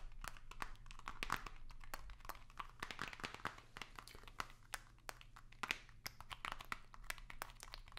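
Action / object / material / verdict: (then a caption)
scrape / long narrow cardboard box / cardboard / none. A long, narrow, hollow white cardboard box with small print is held upright and scratched and tapped with long nails. Dense, quick clicks and crinkly scratches land over a steady low hum. The taps are short and dry with almost no ring.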